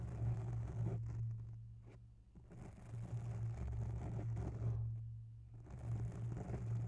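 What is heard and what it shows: Long natural nails scratch the side of a grey oval foam microphone windscreen, pressed close to the mic. The sound is a soft, muffled, low rumbling scrape with almost nothing bright. It swells and fades in slow waves, dipping quieter briefly twice before picking up again.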